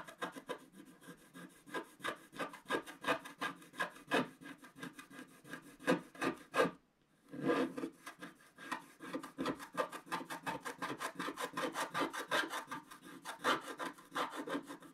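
A wooden stick scrapes the coating of a black wax-coated scratch-art page in quick, repeated strokes while the other hand steadies the page. The result is a steady run of dry, raspy scratching with a bright, papery edge, broken by a brief silent pause near the middle before the strokes resume.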